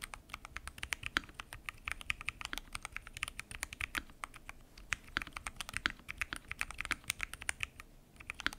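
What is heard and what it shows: Fingertips type continuously on a full-size mechanical keyboard with lubed switches, pink and mint PBT keycaps, and a transparent acrylic case. The result is a fast, steady stream of sharp, short clacks that are bright and crisp with little low-end thump.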